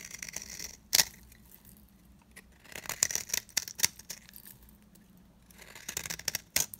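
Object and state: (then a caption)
Dry bar soap being scraped. A utility knife blade scrapes across the flat face of a dry, round, cream-colored solid bar of soap held in the palm. The result is bursts of crisp, bright scratching with sharp clicks and almost no low end. The sharpest peaks come near 1 second and 6.5 seconds.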